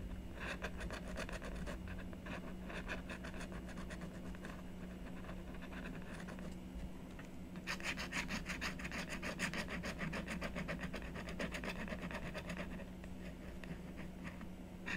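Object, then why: Coated scratch board on cardboard. A stylus scrapes and rubs continuously across the coating of a flat, solid scratch art board (coated paper on cardboard) lying on a wooden table, filling in a tree design. Quick, uneven, dry scratching strokes repeat over a steady low hum. About halfway through, the strokes become louder and brighter.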